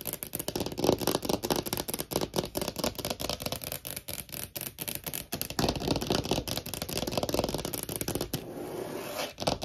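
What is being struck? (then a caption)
Thin clear plastic phone case tapped with fingernails. Long painted nails tap rapidly and unevenly on a small, thin, hollow clear plastic phone case with a holographic heart print, held on a wooden table. The clicks are short and crisp, with a light hollow plastic tone and brief bright edges. They run in quick, irregular bursts throughout, ending in a quieter patch of softer taps.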